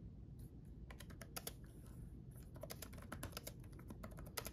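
Fingertips of both hands type quickly on a black backlit laptop keyboard with plastic keycaps. The key taps come as dense, short, bright clicks in uneven clusters, with a brief pause early on. A steady low rumble runs underneath throughout.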